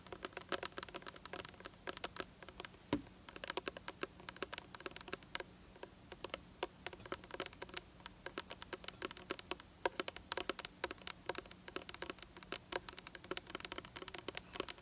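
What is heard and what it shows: Long nails tap rapidly on the side of a hollow, red-pink cylindrical Restorex plastic hair care bottle held in the hands. Dozens of quick, dry, bright clicks patter in uneven bursts for about fifteen seconds, each one dying instantly with no ring, over a faint steady low hum.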